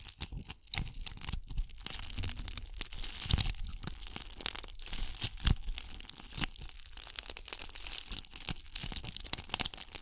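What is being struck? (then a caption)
Ball covered in glass bugle beads. A gold bugle-bead covered ball, held in both hands behind the microphone, is scratched and squeezed with long nails. The result is a dense stream of bright, crackling and crinkling clicks with quick rasping bursts and a low rumble from handling.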